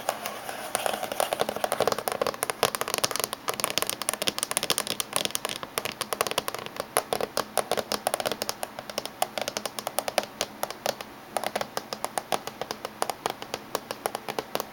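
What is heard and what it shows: Fingertips and nails of both hands tap quickly on the top surface of a closed silver laptop casing. A steady stream of sharp, dry clicks with bright highs and a midrange tone around 600 Hz, each tap dying almost instantly. There is almost no low end.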